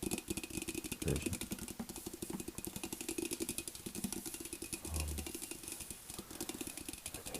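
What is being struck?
Metal tea kettle.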